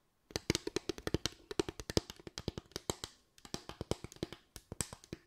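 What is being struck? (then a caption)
Bamboo tray. A bamboo tray is tapped with the fingers in a quick, uneven run of about three dozen light, dry knocks. Each tap is short and woody, with a hollow mid-pitched tone and a bright click on top, and there is a brief pause about two-thirds of the way through.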